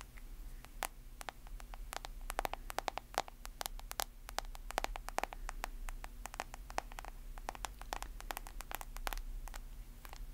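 Long nails tap and scratch the back and sides of a smartphone with a glass screen in a solid white plastic case. Rapid, sharp, dry clicks with almost no ring rise over a soft scratching hiss and a steady low hum, with bright, crisp edges on each tap.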